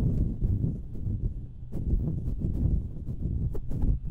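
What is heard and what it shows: Long nails scratch the hollow metal mesh grilles of two identical stereo microphones. The result is a dense, boomy low rumble of scraping, with brief bright ticks flicking through it.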